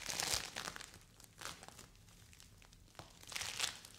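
A small purple lump of polystyrene-bead play foam, held in both hands, is squished and torn by fingers with long white nails. It gives bright, crinkly crackling bursts of tiny bead pops, loudest at the start and again near the end, with quieter scattered crackles between.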